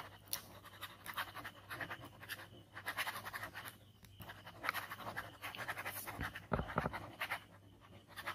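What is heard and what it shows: A plastic ballpoint pen is scribbled rapidly back and forth across a large white paper sheet lying flat on a table, already covered in inky skull scribbles. The pen makes dense, dry scratching strokes in quick bursts, with bright, hissy friction over a faint low hum.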